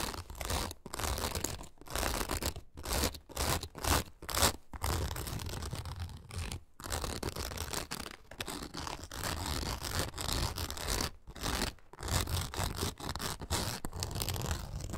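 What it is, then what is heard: Nylon mesh panel on a pet carrier backpack. Long acrylic nails quickly scratch the oval, fine-grid nylon mesh window, with its fabric border, on a hollow pet travel backpack. The result is bursts of dry, raspy scratching with a broad hiss and a hollow low thrum, broken by short pauses at an irregular, rapid pace.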